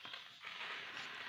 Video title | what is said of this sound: Homemade Tutti Frutti Recipe with Watermelon - Ashrafi Murabba Recipe - Watermelon Recipe | आपको इसकी आवाज से पता चल रहा होगा कितनी अच्छी ड्राई हुई है